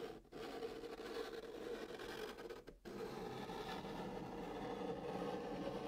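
A stick of white chalk scratches across the flat top of a brown cardboard box as it writes digits and draws a long curved line. The result is a steady, dry scraping hiss with a mid-pitched tonal hum, broken by two brief pauses where the chalk lifts off the cardboard.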